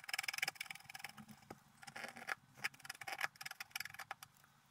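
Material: Coated paper.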